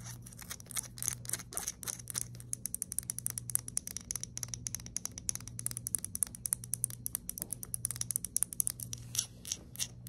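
Long nails scratch and tap the knurled grip of a small, hollow, anodized aluminium flashlight lying on a table. Rapid, dry, bright clicks and rasping scratches come in quick clusters with almost no ring, over a faint steady low hum.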